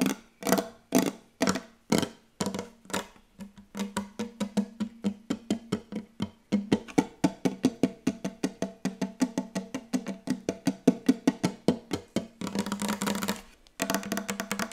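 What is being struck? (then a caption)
Wooden tabletop. A large, solid wooden tabletop with a glossy dark finish is tapped quickly with long yellow acrylic nails and the fingertips of both hands. Spaced, dry, woody knocks with a low tone near 250 Hz speed up into a dense, fast drumming with sharp nail clicks. The taps blur into a continuous roll, stop briefly, then resume.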